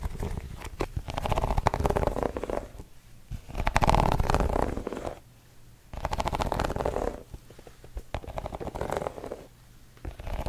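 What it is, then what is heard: Rubber sneaker sole being scratched. A white sneaker is held up with its tan gum rubber sole facing out, and fingertips and nails scratch across the textured tread. Bursts of dry, low scratching and crackling rise and fall in waves over about ten seconds, with brief quieter pauses between.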